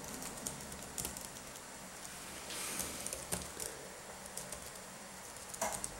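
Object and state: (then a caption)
Plastic laptop keyboard. Gloved fingertips in latex gloves type and tap on the plastic keys of a black laptop keyboard. Scattered soft, bright clicks and taps sound over a faint, steady hiss, with a brief rustling swell partway through.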